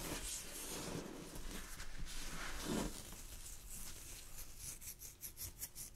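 Long glittery fingernails scratch and pluck a loosely draped piece of thin, sheer purple chiffon fabric. Steady soft, hissy rustling fills the first few seconds, then breaks into a run of quick, bright scratching strokes toward the end.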